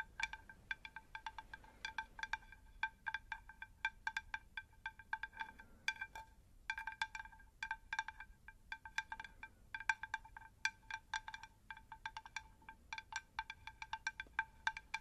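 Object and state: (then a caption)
Terracotta plant saucer. A round, shallow, unglazed terracotta plant saucer is tapped on its underside with long nails in quick, irregular bursts. Dozens of short, clicky taps each give a bright, chime-like ringing tone that dies away almost at once. The result is quiet, with little low end.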